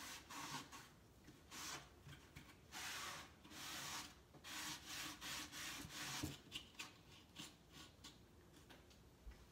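A hand sands the wooden top panel and edges of a large, hollow wooden crate with sandpaper in rubbing strokes. Each stroke is a bright, gritty rasp, separated by short, quieter pauses.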